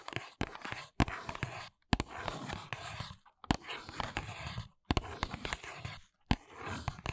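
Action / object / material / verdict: tap / small paperboard box / paperboard / none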